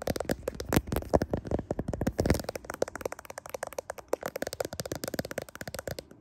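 Long nails tap and scratch the back of a smartphone in a clear plastic case, including the camera lens module, while the phone is held in both hands in front of a mirror. A rapid, uneven run of short, dry plastic clicks and scrapes carries a hollow tone around 580 Hz, with each hit dying away almost instantly.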